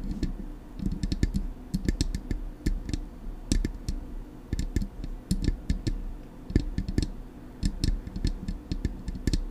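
Long acrylic nails tap rapidly on the hollow, silver metal body of a Blue Yeti microphone. The result is a steady stream of short, dry clicks over a low, thumping resonance, with quick bursts of taps separated by brief pauses.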